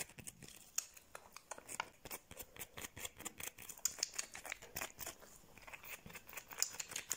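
A small, solid whole fresh lemon with a textured yellow peel, held in one hand, is scratched and tapped with long painted nails. A fast, uneven run of sharp, dry clicks and scratchy rasps is heard, mostly bright and high with very little low end and almost no ring after each hit.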